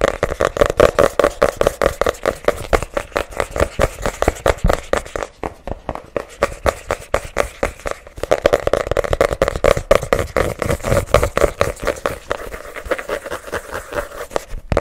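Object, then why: Spiral-bound notebook with cardboard cover. Fingernails rapidly tap and scratch the printed Hello Kitty cardboard cover of a small spiral-bound paper notebook held close to the microphone. The dense stream of short, dry clicks carries a hollow ring near 520 Hz and a crackly texture, easing briefly in the middle before picking back up.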